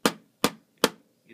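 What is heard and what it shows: Knocks on the plastic cabinet of a 1980s video disc player, finished in simulated wood grain rather than real wood. Three short, dry knocks sound about 0.4 seconds apart, each a quick bright tap that dies away almost at once. A faint, softer sound trails off at the end.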